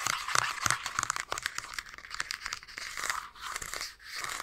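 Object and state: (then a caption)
Plastic game console shell. The plastic back shell of a handheld Nintendo Switch with green and red Joy-Cons is tapped and scratched with a fingertip and short nails close to the mic. Rapid, irregular crisp taps mix with dry, bright scratching and crinkly friction. Each tap dies away almost instantly, with very little low end.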